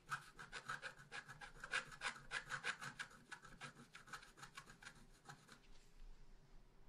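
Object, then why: Black-coated scratch art paper scratched with a wooden stylus. A wooden stylus scratches back and forth across a flat black-coated scratch art paper sheet, etching the trunk of a tree. A rapid run of dry, raspy strokes gives a bright, gritty hiss with a steady midrange edge, and each stroke stops short with almost no ring. The strokes thin out near the end and give way to a quiet tail.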